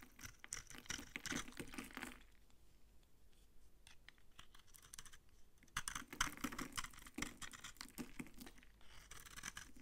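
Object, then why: Bar of soap scraped with a blade. A utility knife blade scrapes across a palm-sized solid bar of old, dry orange soap, shaving off crunchy orange curls. Dense, bright, crackling scrapes come in a burst for the first two seconds, fade to quieter, sparser scratching, then return louder from about six seconds to the end.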